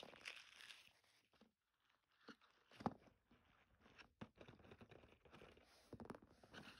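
A flexible, hand-sized blue silicone bristle scrubber is squeezed and rubbed with fingers and thumbs above a dark table. It gives soft, crunchy, crinkling bursts of friction with brief quiet gaps and one sharper snap near the middle. The sound is quiet and close, with a bright hiss.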